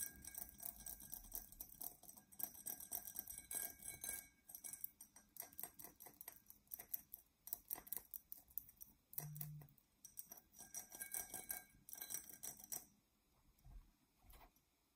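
Long nails scratch and tap a dark, textured Coca-Cola drinking glass that is hollow and apparently empty, held and then set down. Quiet, rapid, bright scratching and clicking fill the clip in dense bursts with very short, dry decay, tapering into sparser taps near the end.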